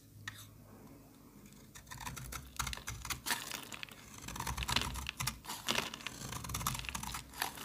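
A solid pink embossed bar of soap, held in the hand, is scraped and carved with a metal box-cutter blade. After a quiet start, a quick run of crisp, bright shaving cuts and scrapes follows, each short and dry with little ring, under a faint low hum.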